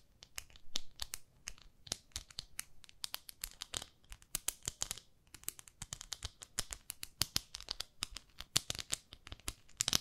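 Long nails scratch the textured surface of a small pink plastic facial cleansing brush, a pad held in both hands. Quick, bright, dry scratching and crinkly ticks come in a rapid, uneven stream, each one short with almost no ring.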